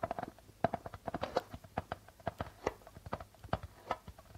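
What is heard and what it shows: Fingertips and nails tap and scratch near the center of a hollow darbuka drum with a white plastic head printed with a logo. About 22 quick, dry taps come in an uneven patter, each with a brief midrange ring around 680 Hz that dies almost at once. Soft scratching fills the gaps between taps.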